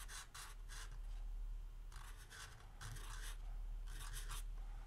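A green felt-tip marker strokes across a small, flat, yellow lined paper legal pad lying on a wooden table, writing the word "Christmas" while the other hand steadies the pad, holding a capped marker that does not touch the paper. Quick clusters of bright, scratchy, rasping strokes come in bursts over a steady low hum.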